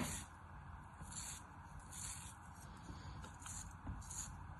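A palm-sized, solid star-shaped block of molded kinetic sand, held in the palm, is sliced repeatedly with a thin black cutting tool. Each cut makes a soft, bright, hissing crunch over a low, rumbling background, and the slices fall off into a plastic tray of sand below.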